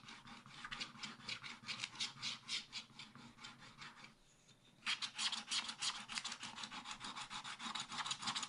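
A wooden stylus scratches the black coating at the right edge of a scratch-art paper page in a spiral pad while the left hand holds the pad. Quick, bright, rasping strokes repeat at about three per second, pause briefly just past the four-second mark, then resume louder and faster to the end.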